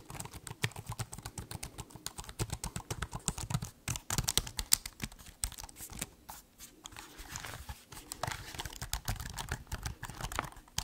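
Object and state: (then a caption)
Laptop keyboard being typed on. Fingertips type quickly on the black keys of a silver metal/plastic laptop held open in the hands, making a dense run of soft, dry clicks and taps. The clicks are short with almost no ring, carrying a low thump under a bright, crisp edge, with brief pauses between bursts.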